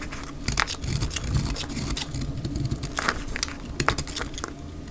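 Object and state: Dry soap bar scraped with a blade.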